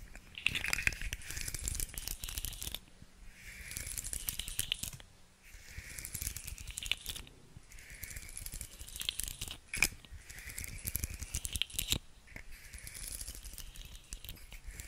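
Long nails tap and scratch a hand-sized, segmented rainbow plastic fidget slug toy held close to the mic. Rapid, bright plastic clicks and scratchy rattling come in repeated swells, with a crinkly ring around 2.4 kHz and soft low thumps underneath.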